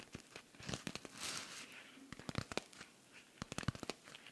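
A silver rhinestone-covered cosmetic pouch is held in the hands while fingernails scratch and rub across the rhinestones. Sharp, bright clicks and crinkly scraping sounds cluster into several bursts, with a softer hissing rub in between.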